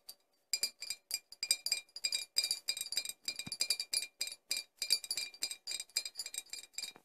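Four glass bottles are tapped in quick, irregular bursts, giving bright, high-pitched clinks with almost no low end. Each tap stops almost at once, with only a brief ring.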